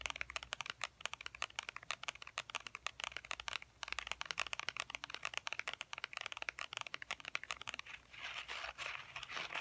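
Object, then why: Faux leather wallet. A tan wallet made of faux ostrich-textured leather is held in both hands and tapped with fingernails, producing dozens of rapid, bright, dry clicks with no ring. Near the end, the taps give way to a softer, continuous scratchy rustle.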